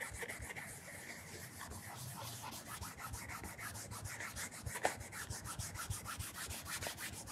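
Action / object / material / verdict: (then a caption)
scrape / leather loafer with wooden shoe tree / leather / none. A cloth wrapped around fingertips rubs and polishes the leather upper near the heel of a black polished leather Edward Green penny loafer, a hollow shoe with a wooden shoe tree, held on its side. Quick, steady back-and-forth strokes make a soft, bright swishing hiss with a faint low thump under each pass, plus one sharper tick partway through.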